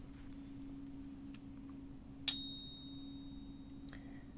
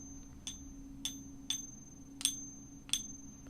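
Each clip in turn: First: genuine silver coin. Second: fake silver coin.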